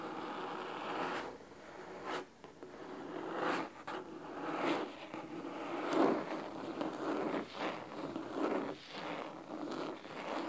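Fingernails scratch along the top edge and the cloth spine of a large, thick, solid red fabric-covered hardcover book. Dry, raspy scraping strokes come in uneven bursts, with a papery hiss over a mid-range body and little low end. Each stroke stops quickly, with brief pauses between them.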